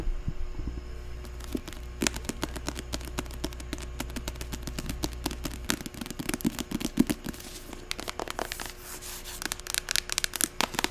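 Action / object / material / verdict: tap / paperback book cover and spine / paper / none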